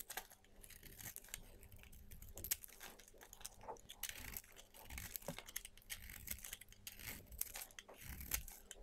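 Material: Soap.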